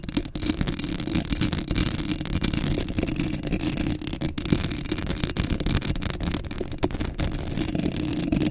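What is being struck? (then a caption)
Metal mesh microphone grille. Long acrylic nails scratch a hollow black metal mesh microphone grille up close, producing a dense, continuous rasping. The sound is heavy in the low end with a steady rumbling body, while bright, gritty scratches and brief crackles flicker over the top throughout.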